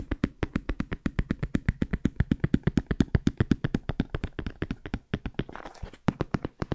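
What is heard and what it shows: Fingertips tap rapidly on a large, hollow, black JBL hard-shell headphone case with a molded EVA/fabric-covered shell. Over fifty quick, dull, hollow taps follow in a steady patter, with weight in the low end and almost no ring. A brief soft brushing noise comes in near the end.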